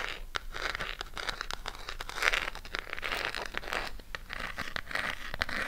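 Long pink acrylic nails scratch and tap a burgundy Harry Potter eyeshadow palette with a cardboard case, held close to the mic. A dense, bright, papery scratching runs throughout, broken by many quick dry taps and crinkly bursts.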